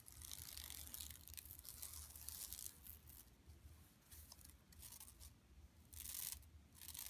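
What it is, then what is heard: Plastic mesh shopping bag. Long nails scratch across an empty, flat yellow woven plastic mesh tote bag lying on carpet. The scratching comes as dry, bright rasping strokes in waves, heaviest at the start and again near the end, over a soft low rumble, all at a quiet level.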